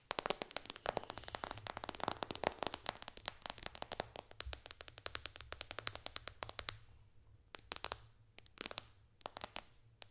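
Long dark fingernails on both hands tap fast across the glass touchscreen of a white-bezel iPad lying flat on a lap. Dense, sharp, bright clicks with no ring rattle off in a rapid stream over a faint low hum, then thin out into sparser taps toward the end.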